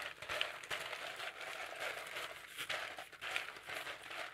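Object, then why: Potato chips on a plate. Fingertips press, crunch and rummage through a pile of thin, dry, yellow potato chips on a shallow blue-rimmed plate held in the other hand. The result is a steady stream of bright, crackly crinkling and crunching with quick, short-lived snaps and almost no low end.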